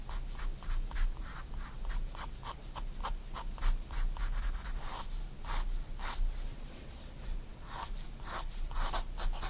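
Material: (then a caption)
Paper. A 4B pencil draws line strokes on a white paper sketchbook lying flat, scratching across the page. Quick, bright, papery scrapes come in a steady rhythm over a constant low hum.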